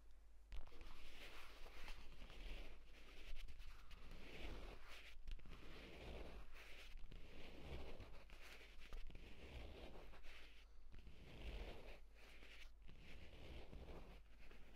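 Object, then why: Leather tablet folio case. Short fingernails on both hands scratch quickly across the pebbled cover of a purple leather folio tablet case lying flat. The result is a dense run of dry, rasping scratch bursts with bright grainy texture, over a steady low hum.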